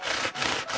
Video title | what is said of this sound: Пирожное шу с кракелином. Хрустящие снаружи и нежные внутри! | Can you hear how crispy the crust is?